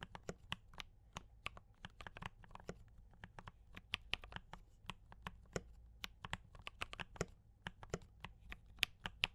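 Both hands type continuously with fingertip taps on a compact D84 mechanical keyboard with brown switches and cream and red plastic keycaps. About 33 quick, bright plastic clacks sound with very short decay over a faint low background hum.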